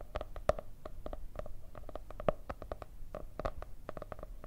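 Long red nails tap and scratch the cardboard cover of a white marble-patterned hardcover notebook with gold veins. It makes a quick, irregular run of dry, hollow clicks with a mid-pitched knock and very short ring. A few taps land noticeably harder than the rest over a soft scratching bed.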